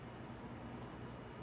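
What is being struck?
Nothing is struck.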